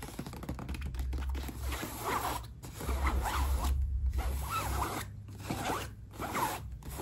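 Long acrylic nails and fingertips tap and scratch the fabric and front pocket of a medium black nylon backpack with zipper pulls, hanging on a hook and sounding hollow and soft. The result is a steady run of dry, zipper-like scratching and rustling over a low, constant hum.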